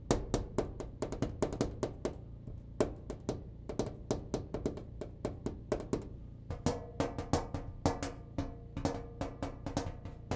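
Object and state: Clothes dryer cabinet tapped.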